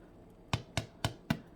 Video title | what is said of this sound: pain maison | ça veut dire qu'il est bien cuit